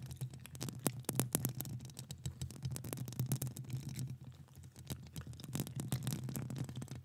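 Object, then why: Metal mesh microphone grille. Long acrylic nails scratch and tap a hollow metal mesh microphone grille with both hands. The result is a steady, dense rasping with a strong low, hollow hum, punctuated by sharp, bright clicks and ticks from the nail tips.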